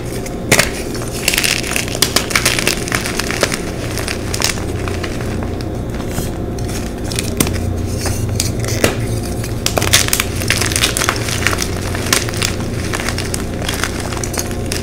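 A solid white gym chalk block fragment (magnesium carbonate) is squeezed and crushed between fingers with long pink nails over a pile of chalk chunks. Dry, brittle crunches and bright crackles come in irregular bursts over a steady low hum. The chalk crumbles with sharp snaps throughout.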